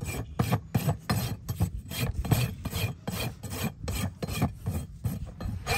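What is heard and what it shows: A farrier draws a long steel rasp in repeated strokes across the solid keratin outer wall of a live horse's hoof resting on a metal hoof stand. Each stroke makes a dry, gritty rasping scrape, weighted toward a low, dull body with a faint bright edge. The strokes come at an uneven pace of about three per second and stop quickly after each pass.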